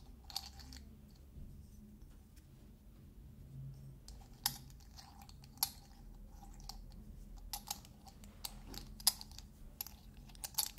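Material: Metal.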